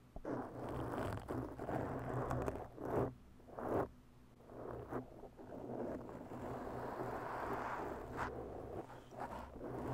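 Long bare natural nails slowly scratch a round black foam windscreen on a microphone, producing a steady, rough, rustling scrape centred in the mids with a faint low hum underneath. Louder strokes swell out of the scratching at irregular moments, each fading quickly without ringing.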